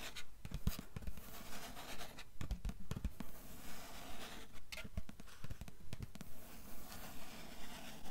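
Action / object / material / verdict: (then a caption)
scrape / paper endpaper inside a hardcover book cover / paper / none. Long nails scratch and tap the blue paper endpaper inside the cover of an open hardcover book lying flat. The result is a steady, repetitive run of dry scratching strokes mixed with soft, dull taps at a quick, fairly regular pace. Each sound is quiet and short, with little ring afterward.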